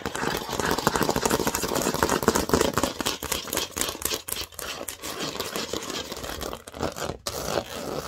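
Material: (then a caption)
Plastic. Long nails scratch fast over the studs of a large, thin, green plastic Lego baseplate. The result is a dense, rapid, irregular run of scratchy clicks and rasps, broadband and bright, with a brief dip in the sound just after the seven-second mark.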